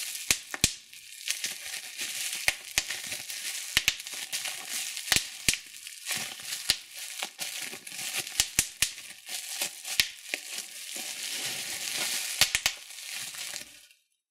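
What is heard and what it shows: Bunched clear plastic bubble wrap is held in both hands while the thumbs press and pop its bubbles and the sheet is crinkled. Sharp, bright pops with almost no ring cut through a steady high, hissing crinkle, with nearly no low end.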